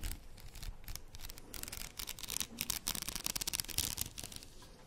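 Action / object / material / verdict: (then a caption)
scrape / plastic faux pearl beaded headband / plastic / none. A faux pearl padded headband with plastic beads is held in one hand while the long nails of the other hand scratch along the beads. The result is a dense, bright, crackly scratching with rapid clicky ticks and a soft low rumble underneath, growing busier toward the end.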